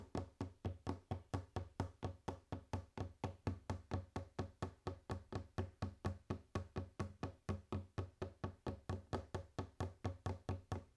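Fingers tap steadily on a wooden table for ASMR, producing a run of about 47 dull, low knocks, roughly four per second. Each tap is short with almost no ring and little high-frequency content.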